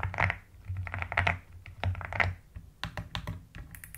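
Both hands with long nails type steadily on a mechanical keyboard with pastel plastic keycaps and a white case. Bursts of quick clacks come in uneven clusters, each with a deep, rounded low thock and bright tapping clicks that die away quickly. Quieter, lighter taps fill the gaps between bursts.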